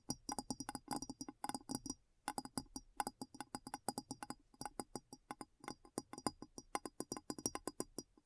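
A glass bowl is tapped in quick, irregular bursts, about fifty light taps with a brief pause near the two-second mark. Each tap is a short, dry clink with a low body around 285 Hz and bright high overtones that die away almost at once.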